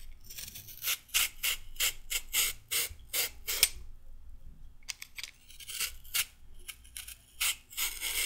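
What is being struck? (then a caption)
Raw carrot scraped with a peeler. A mostly peeled, solid raw carrot held in both hands is scraped with a pink-handled peeler, giving about twenty quick, bright rasping strokes with a short pause in the middle. Each stroke is a dry, high scrape that stops sharply.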